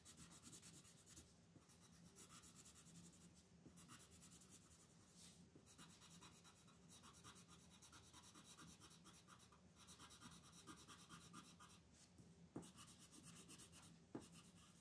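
A blue colored pencil is rubbed in quick strokes across a thin paper lotus coloring page lying on a wooden table, held flat by the other hand, filling in shapes. The result is a quiet, continuous scratching and rubbing texture with a bright, airy hiss, gently pulsing with each stroke and broken by a couple of brief sharp ticks near the end.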